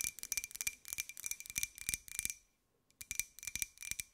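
Long nails rapidly tap a small, hollow, empty white ceramic cup-shaped jar with a pink and gold pineapple print and an open top. The taps are quick, irregular, bright clicks with a faint ringing tone near 2.4 kHz. They pause for about half a second and then resume.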